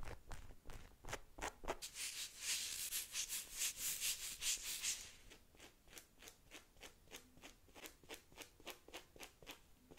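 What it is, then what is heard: Rubber dinosaur toy tapped and scratched with nails. Long pink nails tap and scratch a small, hollow-looking green rubber or vinyl dinosaur figure held in the hands. Quick, crisp, high-pitched taps give way to a louder stretch of continuous scratchy rubbing from about two to five seconds, then the light rhythmic tapping resumes.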